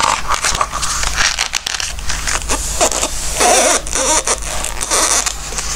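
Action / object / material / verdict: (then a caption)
scrape / softcover book with glossy paper pages / glossy paper / none. Fingertips pinch and turn the glossy pages of a softcover Christmas book and rub them flat, making crisp, crackling paper rustles and bright swishing scrapes. A steady low hum runs underneath throughout.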